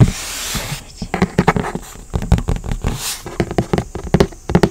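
A large, hollow red printed cardboard retail box for a Nintendo Switch OLED is held upright close to the mic and scratched and tapped with long nails and fingertips. A soft, hissy scratching opens the clip, followed by a quick, uneven series of dull, low, hollow taps that die away almost instantly.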